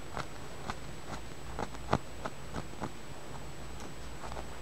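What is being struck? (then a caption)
Small tumbled amethyst stone. A small, solid, purple tumbled amethyst held between the fingers is tapped and scratched with the fingernails. Six short, dry clicks stand out from a faint steady low hum, the loudest near the middle, with soft scratching in between.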